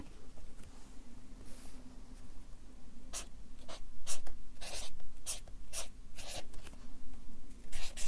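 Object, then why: Felt-tip marker on paper sheets on a clipboard. A Sharpie marker writes text and draws a smiley face on a stack of white paper resting on a clipboard. The felt tip rubs across the paper in short, bright, scratchy strokes that grow louder and more frequent partway through, over a quiet, steady low hum.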